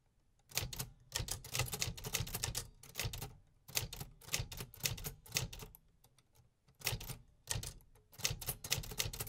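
A 1950s Remington Quiet-Riter typewriter with a beige painted metal body and black keys, a large hollow machine sitting on a wooden table with paper loaded, is typed on steadily with fingertips. Bursts of bright, sharp mechanical key and typebar strikes come in clustered runs with short pauses between them, each clack snapping off quickly over a low hollow thud from the body.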